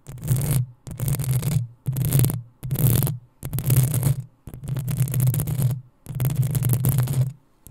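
Long acrylic nails of both hands scratch the hollow metal mesh head of a black desktop USB microphone in seven separate bursts. Each burst is a bright, crackling scrape over a heavy low rumble, with short silences between.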